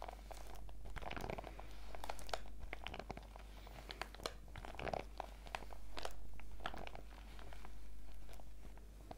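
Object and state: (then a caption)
Clear plastic pouch being scratched. Fingertips and long nails of both hands rub and scratch across a printed clear PVC zip pouch lying flat on a table. The result is a dense run of crinkly, scratchy crackles with bright sharp clicks, rising and falling in slow swells over a steady low hum.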